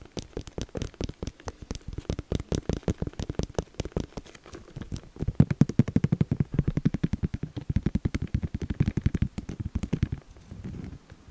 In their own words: 4:28 - 5:17 Tapping a plastic decoration